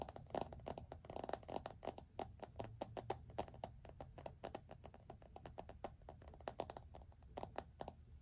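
A small, solid iPhone in a black plastic case is held flat against the chest in both hands while fingertips and short nails tap and scratch the back of the case. The result is a fast, uneven stream of dry, clicky taps with a hollow mid-range tone, mixed with brief scratchy scrapes over a faint low rumble. Each tap dies away almost instantly.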